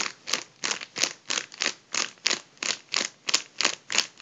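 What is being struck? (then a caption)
Mylar foil balloon. Both hands squeeze and crumple a partly deflated gold mylar foil balloon, producing twelve bright, crinkly bursts of rustling in a steady rhythm. Each crunch is short and hissy, with almost no low end and quick silences between.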